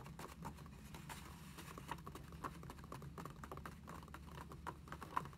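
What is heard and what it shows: Long acrylic nails tap rapidly on the pages of an open lined paper notebook lying flat on a table. The taps are quick, light and dry, with very little ring, over a steady low hum.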